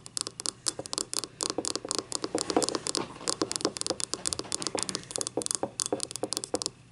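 Long nails rapidly tap and scratch a small, hollow, empty yellow ribbed ceramic cup lying on its side, working over its labelled bottom and ribbed side. Dozens of quick, bright, clicky taps with a slight hollow mid-range knock die away almost at once, mixed with dry scratching and rasping over the ribs.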